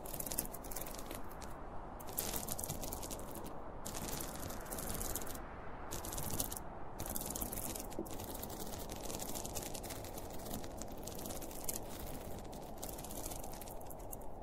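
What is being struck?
Zippered polyester fabric pencil case.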